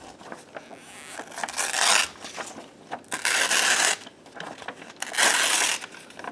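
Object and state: Paper sheet being torn.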